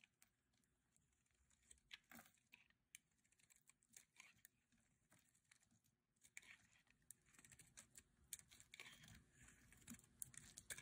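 A metal utility blade shaves long curls off the surface of a hand-sized blue solid bar of dry soap held in the hands. Quiet, dry, bright scraping and crisp crackling come in short bursts, growing denser and slightly louder in the second half.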